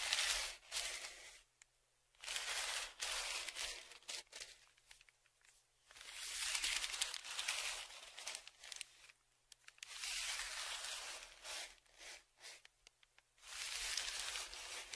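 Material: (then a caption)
Kraft paper. A thin dark tool scratches the crinkled surface of a large, flat brown kraft paper padded mailer on a table while the other hand steadies it. Bursts of bright, dry scratching and crinkling come in irregular waves, separated by short quiet pauses.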